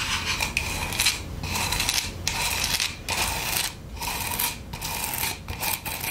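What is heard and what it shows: Long acrylic nails scratch and rub the glitter-coated face of a solid, round, roughly plate-sized wood log slice with a bark rim. Bright, gritty scraping bursts come in an uneven rhythm, broken by brief quiet gaps, with a faint low rumble underneath.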